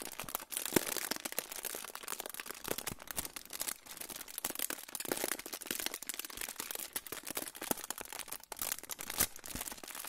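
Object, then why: Aluminium foil pouch. A crinkled silver aluminium foil pouch is held in front of the microphone and crinkled and rubbed with fingertips. The result is a steady, dense stream of bright, crackly crinkling with many sharp snaps and very little low end.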